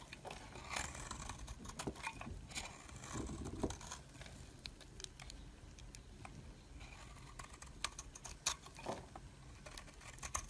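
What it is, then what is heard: Bar soap being shaved. A metal blade scrapes thin shavings off a solid, hand-held purple-and-white swirled bar of soap. Soft, dry scraping and crisp, bright ticks repeat throughout, with a faint low rumble underneath.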